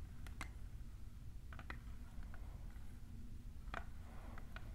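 Long nails fitted with plastic clips tap a tall, hollow, clear plastic printed tumbler, making quiet, sharp, bright clicks and ticks that are scattered irregularly through the clip. The taps sit over a steady low rumble that carries most of the sound.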